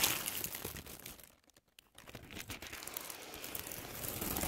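A folded white paper tissue strip, held in both hands, is scratched and crinkled with long nails. It makes a dense, bright crackling and rustling that drops almost to silence for about half a second near the middle, then picks up again and continues steadily to the end.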